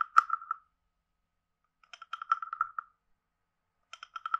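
A hand-sized carved hollow wooden frog guiro with a ridged back is tapped quickly with a wooden stick along its lower edge and body. Three bursts of dry, hollow knocks come with pauses between them, each knock sharply pitched and dying out almost at once.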